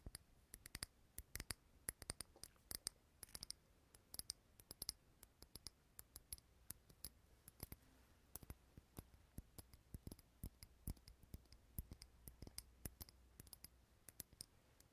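A small clear glass candle jar filled with green wax, lit and held in the hand, is tapped on its glass sides with fingernails. The result is a steady run of quiet, sharp, bright clicks with almost no ring, over a faint low background hum.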